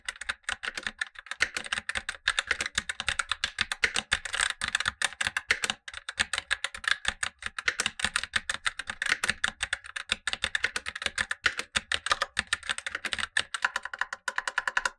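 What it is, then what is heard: Plastic mechanical keyboard being typed on. Gloved fingertips type continuously on a black tenkeyless Razer BlackWidow Lite mechanical keyboard with tactile switches and plastic keycaps, while a second keyboard below sits idle. The result is a rapid, steady stream of short, sharp, dry keystroke clicks and clacks, centered around 2 kHz with bright high edges and almost no low end.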